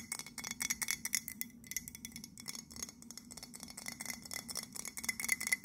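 Long nails tap rapidly on the side of an empty white printed ceramic mug held in both hands. About thirty quick, bright clicks each carry a faint glassy ping near 2 kHz that dies away almost instantly, forming a light, chime-like patter.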